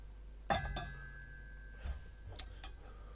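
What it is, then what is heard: Unfilled metal speaker stand that rings. An empty, unfilled metal hi-fi speaker stand is tapped four times, each tap giving a bright metallic clink with a ringing tone around 780 Hz and a low hum underneath. The ringing is why such stands get mass-loaded or filled.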